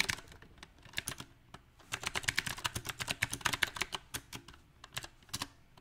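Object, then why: Mechanical keyboard with round plastic keycaps. Both hands type with their fingertips on a compact backlit mechanical keyboard with round plastic typewriter-style keycaps. The result is a string of bright, short, clicky key taps in an uneven rhythm: quick bursts broken by brief pauses, with each tap dying away almost instantly.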